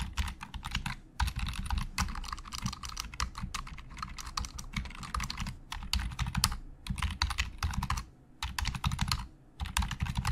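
Fingertips of both hands type fast on a black plastic Logitech full-size keyboard with a hollow shell and membrane keys. Dense bursts of short, bright clicks over a hollow low thump, about 100 Hz, are broken by brief pauses. Each keystroke dies away almost at once.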